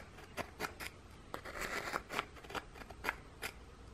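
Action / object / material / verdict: scrape / thin ginger biscuit / biscuit / none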